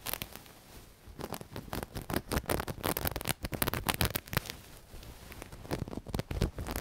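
Long nails scratch and rub over a soft black knitted cushion with a sequined owl-cat appliqué, moving across both the sequins and the knit. The result is a dense run of quick, dry scratchy bursts and pattering clicks, with bright crackle over a low, soft rustle. The sound eases into quieter rubbing around the first and fifth seconds.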